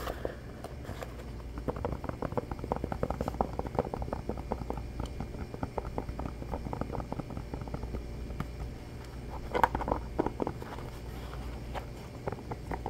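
Fingertips quickly tap and scratch the textured rubber sole of a hand-sized black shoe or slipper held in both hands. A dense, fast stream of soft, dull taps and scrapes comes through with little brightness over a low, steady rumble, and a few louder taps stand out near the tenth second.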